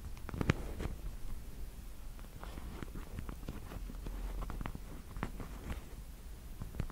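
Long, black, pointed plastic fake nails on small, hollow fingertip covers are tapped and clicked together near the mic. The result is a steady, quiet run of short, dry clicks with no ring, set over a soft, low background rumble.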